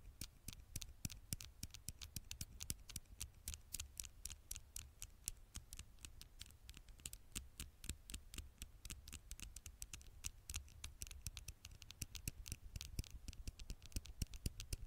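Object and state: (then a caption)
Glass phone screen tapped with nails. Long nails tap and scratch on the black glass screen of a smartphone, making quick, sharp, irregular clicks over a low background hum. The scratchy taps keep coming steadily throughout, each one dry and short with no ring.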